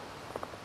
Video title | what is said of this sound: Coast Ray Mears Wild Food E2 part 2 | if it's a good piece you should have a real crystal sound like that that means there aren't so many flaws in the Flint